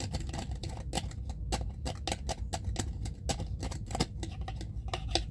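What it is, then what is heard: Plastic jar lid. Fingertips rub and scratch the ridged screw lid of a small clear plastic jar full of cotton pads in a rasping motion. Quick, dry scraping strokes with bright crackle repeat steadily over a low, steady rumble.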